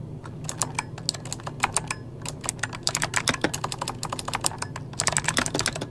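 Fingertips of both hands rapidly tap the plastic keycaps of a full-size backlit mechanical computer keyboard. The sharp, bright clicks die away almost instantly and come in quick runs that slow briefly near the middle and speed up again at the end. A faint, steady low hum sits underneath.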